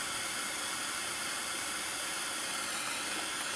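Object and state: Nothing is struck.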